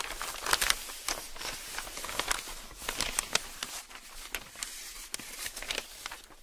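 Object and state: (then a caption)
Newsprint newspaper sheets being handled. A bare hand flips over a page of large, thin newsprint newspaper sheets lying flat on a table, then the palm and fingertips rub and smooth the sheet flat. Bright, crisp crinkling and crumpling rustles come in quick, uneven bursts with sharp papery snaps, over a faint low background.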